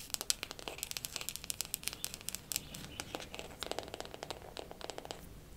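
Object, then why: Wooden makeup compact. A wooden makeup compact is tapped quickly with fingernails for ASMR. The result is a fast, uneven stream of short, crisp, bright clicks that stop almost instantly, over a quiet, steady hiss.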